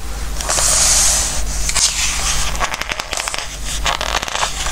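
A palm and fingertips rub and stroke the glossy pages of a book and turn them. A bright, airy swish of skin sliding across the paper builds in the first second, then gives way to quick, crisp crackles and flicks as the pages turn. A steady low hum runs underneath throughout.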